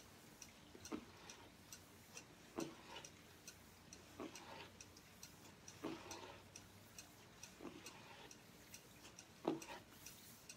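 A striped hardcover journal with cardboard covers, held upright, has its cover tapped with fingertips and nails. The result is a quiet, irregular series of short, dry taps: soft hollow thuds around 330 Hz with bright clicky edges, and a few louder knocks among lighter nail ticks.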